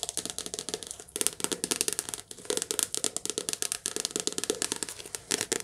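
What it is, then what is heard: Paperback book. Long nails tap and scratch quickly over the glossy cover and spine of a softcover paperback book. They make a steady stream of sharp, bright, dry clicks with papery scratching, broken by brief pauses just after one and two seconds. Each tap dies away almost at once.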